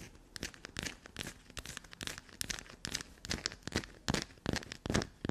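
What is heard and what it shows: Long black-polished natural nails scratch and dig into a small, solid, dark black soap chunk held up in both hands over a table dusted with soap shavings, crumbling bits off. Fast, uneven bursts of dry, crumbly scratching and tearing sound across low to bright frequencies, with short, clipped crunches that die away almost instantly.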